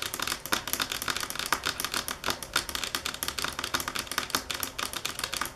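Long fingernails tap on a marble table top at varying speed and force. The result is a rapid, uneven stream of sharp, bright clicks with almost no ring or low end.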